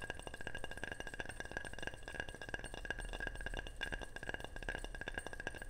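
A ceramic object is tapped rapidly and steadily, giving a continuous stream of quick, bright chinks and clinks with a ringing tone around 1.6 kHz. Each tap dies away almost at once.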